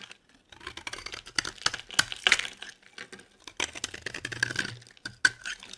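A solid, cream-colored rectangular bar of dry soap is held in the hand and scraped and shaved with a metal utility blade, and curls of soap fall off. The result is a run of crisp, bright, dry rasping strokes with short crackly bursts and brief pauses between them.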